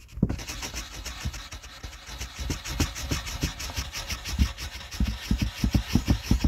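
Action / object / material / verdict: scrape / wooden colored pencil on a paper sheet / paper / none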